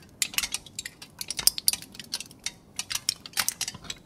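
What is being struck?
Aluminium foil sheet.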